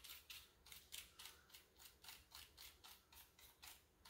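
Fingertips press, rub and scratch across the keycaps of a full-size black plastic keyboard with a hollow body, resting on a granite counter. About fifteen quiet, bright, scratchy strokes come in a loose, uneven rhythm of roughly four per second, each fading almost at once with very little low end.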